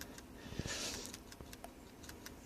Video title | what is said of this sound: SRS AIR BAG HONDA ECU | what is actually inside if you actually just shake it you can hear